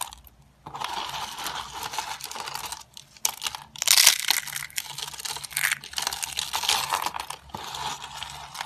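Fingertips press down on stacked thin sheets of dry, hard yellowish soap on a grey tray, breaking and crumbling them into flakes. Dense, bright crunching and crackling runs almost continuously after a brief quiet start, with a louder burst of crushing near the middle.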